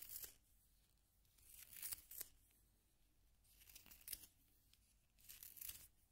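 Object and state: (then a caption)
Wooden pencil being sharpened in a plastic sharpener. A solid yellow wooden pencil is turned by fingertips in a small pink plastic sharpener as the blade shaves the wood. Four quiet bursts of bright, crisp scraping and rasping are heard, mostly high in pitch, separated by brief near-silence.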